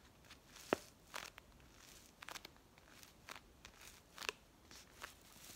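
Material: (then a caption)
Kraft paper. Long nails tap and scratch a brown kraft paper coffee pouch with a white label that appears filled. A quiet series of crisp, papery taps and crinkly scratches, each brief and bright with almost no low end, spaced unevenly over a soft hiss.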